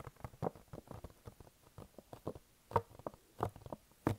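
Fingertips tap and stick-pull on the front face of a hollow, glossy pink printed cardboard box held in front of the face. The result is a quiet, irregular patter of short, dry, papery taps and sticky pulls with a hollow low thump beneath, with a few louder taps near the end.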